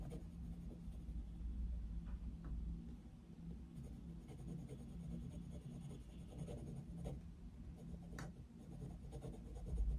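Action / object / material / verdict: scrape / coloured pencil on a paper colouring book page / paper / none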